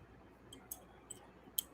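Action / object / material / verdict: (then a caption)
tap / heat-treated craft mat piece / plastic / hard. A stamped, heat-treated circle cut from a craft mat is tapped four times, giving short, sharp, high-pitched clicks with almost no ring over a quiet background. It sounds like hard plastic.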